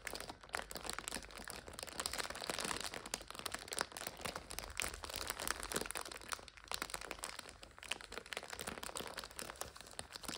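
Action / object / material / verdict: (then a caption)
scrape / plastic wrapper of an instant noodle multipack / plastic / none. A full plastic multipack of instant noodles is turned from lying flat to standing upright on its side while long nails scratch and crinkle the wrapper. The result is a dense, continuous stream of bright, crisp plastic crinkles and scratchy crackles with little low end, steady in level across the clip.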